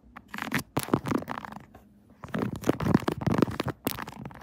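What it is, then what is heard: Silicone phone case on smartphone. Long acrylic nails tap and scratch the raised buttons and surface of a pink 3D silicone Kirby phone case fitted on a smartphone mounted on a tripod. The result is a run of soft, dull, muffled taps mixed with rubbery scratching, with a short pause midway before the tapping resumes.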